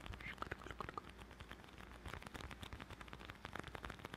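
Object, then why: Leather bifold wallet. A closed dark brown leather bifold wallet, held close to the mic, is tapped and scratched with fingertips. Soft, quiet taps land among a steady, crackly scratching texture with a low, muffled body, and each tap dies away instantly.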